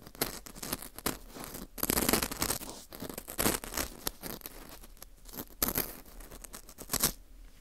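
A metal dental scaler hook scrapes inside the center hole of a dry, porous dried wheat gluten fu ring slice. The result is a dry, crackly scratching and crunching texture with bright, rustling detail, broken by louder bursts of scraping around 2, 3.5, 5.6 and 7 seconds.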